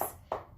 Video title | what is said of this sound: ES Dance: Unit 1 Week 1, Advanced Ballet Brain Dance and Ballet History | you can hear that when i knock on them they actually kind of make my knuckles sore so the hard toe box